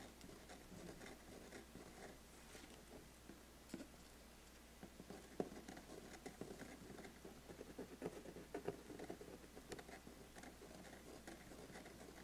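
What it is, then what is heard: Cardboard gift box tapped and scratched. Fingernails tap and scratch across the lid of a closed, large, flat, black glossy cardboard biscuit gift box. The result is a quiet, continuous patter of soft scratching with short, dry ticks scattered throughout, centered in the low midrange.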